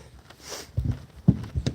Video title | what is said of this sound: 4 Days From Florida...so cold... | this sounds Hollow as anything